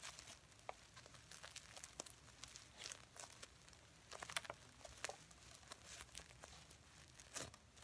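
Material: Plastic sequins.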